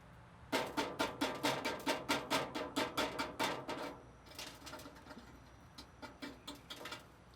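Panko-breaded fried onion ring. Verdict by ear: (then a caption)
Crispy. Freshly fried panko-breaded onion rings give off a rapid series of sharp, dry crackles and crunches, loud at first and then fading to softer, scattered crackles. They are crispy and good, made to add crunch to a burger.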